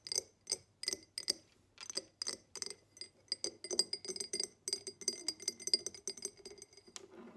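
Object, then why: Cut glass tumbler. Long acrylic nails tap and scratch a tall, empty, hollow diamond-pattern cut glass tumbler, first as it lies on its side and then as it is held tilted. A rapid series of sharp, bright clinks with a brief high glassy ring comes through, mixed with softer scratching over the cut pattern.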